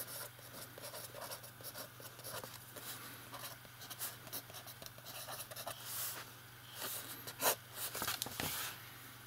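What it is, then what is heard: Paper notebook page under a metal pen. A metal fountain pen writes on an open lined paper notebook page, with the other hand resting flat on the page. The nib scratches the paper in quick, irregular, bright strokes over a steady low hum, with a few louder, sharper scrapes near the end.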